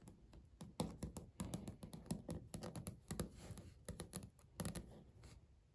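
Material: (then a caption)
Laminate. Fingernails tap and scratch on a flat, solid, speckled beige laminate countertop. A quick, irregular run of short, dull clicks with little ring is heard, low-heavy and quiet, with soft scratchy brushing between the taps.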